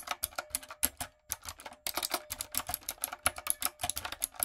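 A backlit, typewriter-style mechanical keyboard with round retro plastic keycaps and a hollow body is typed on with long coffin nails and fingertips. It makes a quick run of sharp, bright, clacky keystrokes with very little low end, each one dying away almost instantly. A brief pause comes about a second in, and a faint steady hum sits underneath.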